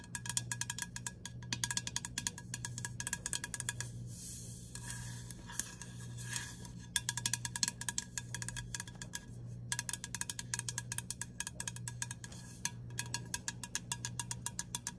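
Long acrylic nails tap and scratch along the body of a Dove aluminium aerosol deodorant can, a hollow, pressurized metal can lying on its side on a table with its plastic cap. Rapid, bright metallic ticks and clinks with a short ring sound over a steady low hum. Around the fourth to fifth second the tapping thins into a softer scratching passage.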